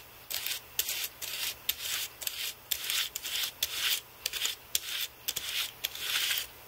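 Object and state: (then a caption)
Computer keyboard brushed. A carbon-fibre brush is swept back and forth across the plastic keys of a white Apple keyboard with an aluminium body. Each stroke makes a dry, bright, bristly scratching sweep, often starting with a sharp click. The strokes come in quick bursts with brief quiet gaps between them.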